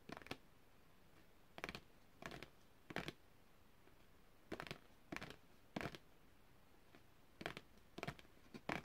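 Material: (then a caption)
Cardboard. A long, thin printed cardboard packaging card, held upright, is tapped with long red-painted fingernails. Short clusters of quick, dry, papery taps come at irregular intervals with quiet pauses between them. Each tap is crisp and bright and dies away almost instantly.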